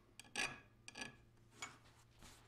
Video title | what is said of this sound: How to use Rockwell Hardness Files for knife making | It's a very soft material until it's heat treated. Listen again. Dull sound on the unheat treated blank.